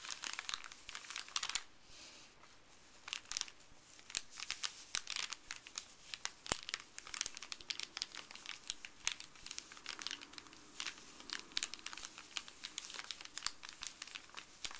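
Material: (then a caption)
Paper. Fuzzy gloved fingers rub and crinkle a creased, empty, printed white paper pharmacy bag with an orange panel on a table. The result is a steady stream of quiet, bright, dry crackles and crinkles with sharp little snaps scattered throughout, and almost no low end.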